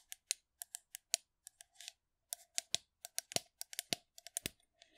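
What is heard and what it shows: Long nails tap and scratch the side of a hollow, blue metal aerosol shaving foam can as it is moved around the microphone. About two dozen sharp, bright, separate clicks sound with a faint hollow ring, broken by a few brief scratchy rustles. The sound is light and crisp with almost no low end.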